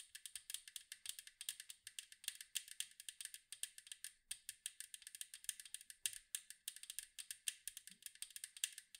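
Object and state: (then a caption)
Metal cookie tin. Fingernails tap rapidly on the striped side wall of a large, round, hollow metal cookie tin. The result is a fast, uneven stream of dozens of sharp, bright clicks with almost no low end, each dying away almost instantly.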